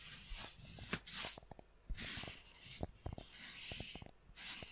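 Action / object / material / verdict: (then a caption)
scrape / cork coaster / cork / none. A round, flat, solid cork coaster about palm size is held in front of the microphone and scratched and tapped with long nails and fingertips. Bright, hissy scratching strokes alternate with short, dry taps that die away almost at once.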